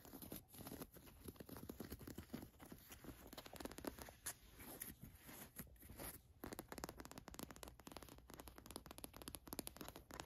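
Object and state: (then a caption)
Printed cotton t-shirt scratched with fingernails. Long nails scratch across the gold watch print and raised embroidered lettering of a black printed cotton t-shirt. Dense, quiet, rapid scratching and rubbing runs throughout, with a soft, broadband texture and short bursts that don't ring on.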